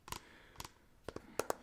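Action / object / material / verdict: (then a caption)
tap / plastic shampoo bottle / plastic / none. An organic shampoo bottle, used every day, is tapped six times with short, light taps. The taps come in pairs and are crisp and dry, with a midrange knock and little low end. Each tap dies away almost at once.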